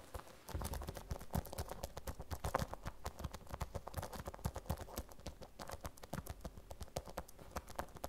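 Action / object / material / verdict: tap / vinyl zip pouch / vinyl / none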